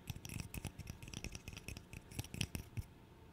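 A small, solid, light wooden interlocking burr puzzle is held in the hands and tapped and scratched with the fingernails. A rapid, irregular run of short, dry clicks and taps is heard, each with a soft low thump and a crisp, bright edge that dies away almost instantly. The taps stop near the end, leaving a faint, quiet scratching.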